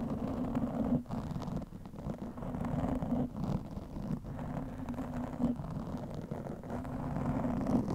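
A black, soft porous foam windscreen over a microphone is scratched quickly with the long nails of both hands. The result is a dense, continuous rumbling rustle with a low hum around 240 Hz, little high content, and brief dips in the scratching.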